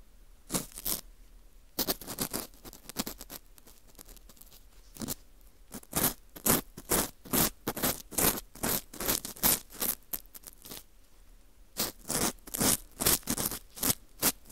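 A green plastic scoop scrapes the inside of the hole of a porous dried wheat gluten ring (fu). Short, dry, bright scratching and crackling strokes come in irregular bursts with brief quiet pauses between them.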